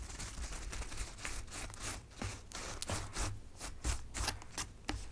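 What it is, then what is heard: Preserved rose petals. Long nails and fingertips of both hands tap and scratch across the soft petal tops of a large tray of packed white preserved roses. Soft, crisp taps and bright, scratchy rustles come in irregular bursts over a low, steady rumble.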